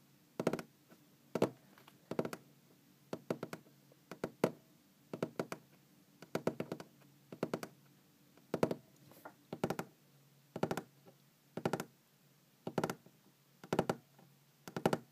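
Long green-painted fingernails tap on a large solid wooden tabletop in quick bursts of two to four clicks, repeated steadily with short quiet gaps between them. Each tap is dry and clicky, with a woody knock centered near 470 Hz, and it dies away almost instantly.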